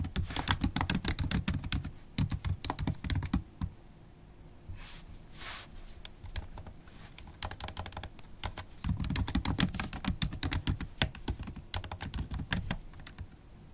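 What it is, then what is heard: Laptop keyboard with plastic keys in an aluminium body. A MacBook Pro keyboard with black plastic keycaps in an aluminium body is tapped by long pointed acrylic nail tips. Quick, irregular bursts of sharp, bright clicks come with a low thud under each press. A quieter pause falls in the middle before the typing picks up again.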